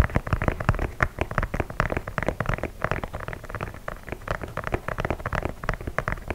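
An empty white leather low-top sneaker in the Air Force 1 style, with laces, is held up to a microphone while fingertips and nails tap and scratch its leather upper. The result is a dense run of short, dry, close-up taps and scratches with a heavy low-frequency thump and little high end.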